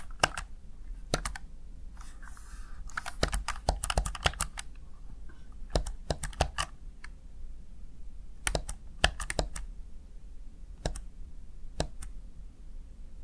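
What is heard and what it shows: Keys on a small, hollow, backlit plastic Razer Tartarus Chroma gaming keypad are pressed with fingertips and long nails, giving sharp, short clicks in uneven bursts with brief scratchy brushing between them. A steady low hum sits underneath throughout.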